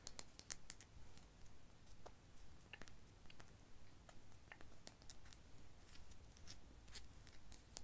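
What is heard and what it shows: A medium frosted glass serum bottle of The Ordinary Niacinamide with a white dropper cap, apparently full of liquid, is held in the hands and tapped and clicked with long painted nails. The result is a quiet, irregular series of short, bright, high clicks and taps over a low, steady rumble.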